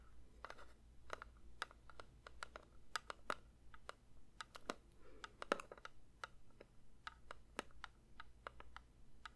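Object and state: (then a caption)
Metal candle tin, tapped. Fingertips lightly tap a metal candle tin in a steady, uneven run of quick, soft clicks. Each tap is short and dry, with a bright tick and almost no ring. A faint low hum sits under the quiet tapping throughout.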